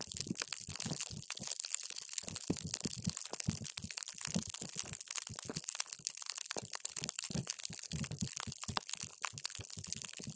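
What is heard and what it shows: A paper straw is pushed down into a clear plastic cup full of multicolored water gel beads, crushing them. A dense run of short, bright, wet crunching and crackling pops fills the clip, with soft low thumps under the squelching. Each pop dies away almost instantly.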